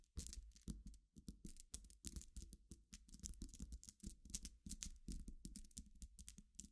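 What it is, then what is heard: Pile of glass pebbles being stirred. A dense pile of glass pebbles resting on black fabric is scratched with fingernails, then stirred with both hands. The result is a steady stream of quick, bright clicks and clatters as the glass gems knock together, over a soft low rumble.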